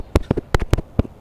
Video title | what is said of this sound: What You're Not Supposed To Do To Ribbon Mics - Sound Speeds | When I shake it, it jiggles. The whole thing has been warped and distorted a bit, and it's making sound